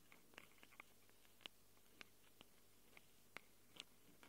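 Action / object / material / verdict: tap / handheld recorder microphone capsules, plastic and metal / plastic, metal / none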